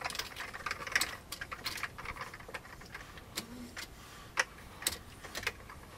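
Fingertips type on the keys of an old beige plastic computer keyboard. A quick, irregular run of short, dry, bright clicks and taps follows, each dying away almost instantly, with a few sharper keystrokes standing out over a soft hiss.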